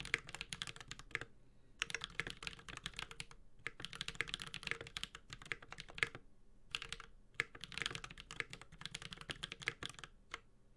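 A Space65 Cybervoyager 65% mechanical keyboard with a metal case, Holy Panda switches and ABS plastic keycaps is typed on continuously with the fingertips of both hands. Bursts of quick, bright, clacky keystrokes with a low thock beneath them are broken by short pauses, and each stroke stops dead with no ring.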